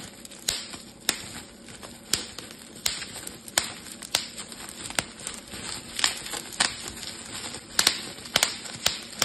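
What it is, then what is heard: Plastic bubble wrap. A clear, thin, air-filled plastic bubble wrap sheet is held in both hands while thumbs and fingertips pinch and pop the bubbles. Sharp, bright pops snap out at irregular intervals over a steady crinkly plastic hiss, each dying away almost at once.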